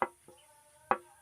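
A used polycarbonate car headlamp lens is tapped three times, giving sharp, hard knocks with a ringing tone around 550 Hz. This marks it as PC plastic, which will not catch fire when burned.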